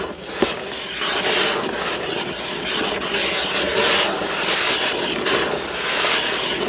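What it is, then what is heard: Cardboard box, scratched. Fingertips rub and scratch across the front of a hollow, printed cardboard building-block box, then grip it at the sides. The result is a steady, dry, bright rasping hiss in repeated swells, with a small sharp tick near the start and almost no low end.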